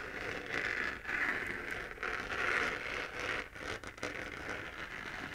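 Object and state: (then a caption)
Plastic moon lamp. Long dark-painted nails scratch across the textured crater surface of a glowing spherical moon lamp, a hand-to-head-sized hollow 3D-printed plastic shell held in one hand. The result is a steady, dry scratching hiss that swells and fades in waves, with a bright rasp centered in the upper mids and little low end.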